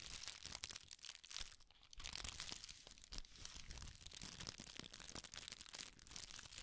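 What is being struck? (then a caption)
Thin tissue paper sheet. A thin, large sheet of red tissue (silk) paper, held up in both hands, is crumpled and crinkled with the fingertips. It makes a dense, bright crackling rustle of quick overlapping crinkles with a brief softer dip partway through, and the sheet stays crumpled.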